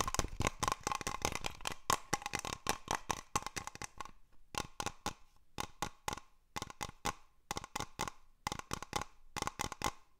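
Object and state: Glass cloche tapped.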